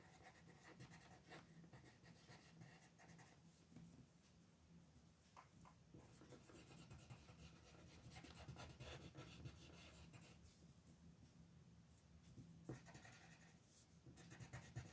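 A yellow wooden colored pencil is rubbed back and forth over a thin paper coloring sheet lying flat on a desk, shading petals while the other hand holds the sheet steady. The sound is a soft, continuous scratchy rasp with faint bright grain and a steady low hum underneath, swelling slightly as the strokes press harder.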